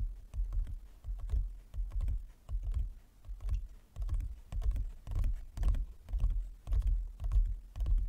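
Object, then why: Large flat inlaid wooden chess board. Fingertips with long nails tap slowly on a large, flat, inlaid wooden chess board, making soft, low, dull knocks with short decay and faint bright clicks of the nails. The taps come in loose, uneven clusters throughout the clip.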